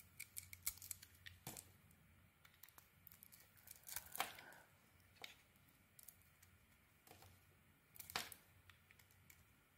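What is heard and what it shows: A small metal knife blade scrapes and shaves curls from a hand-sized solid white soap bar with a red coating, held in one hand, carving it and leaving white shavings around. Quiet, bright, crisp scraping and slicing strokes come at an irregular pace, with a few louder, sharper cuts over a faint low hum.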